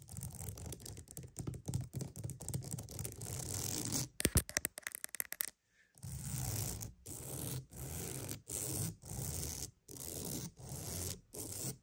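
A wooden mat is tapped and scratched for ASMR: a dense run of quick, dry scratching gives way to a few sharp, close taps, then a brief silence. Steady, separated scratching strokes follow, each a rough, brushy rasp with a soft low body and a bright hiss on top.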